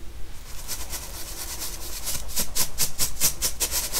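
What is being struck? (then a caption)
Baking soda powder in a stainless steel mesh sieve. A hand shakes a round stainless steel mesh sieve full of purple baking soda powder, sifting the powder onto a white table. A soft, grainy hiss builds into a steady rhythm of bright, rattling swishes, about three per second, over a low background hum.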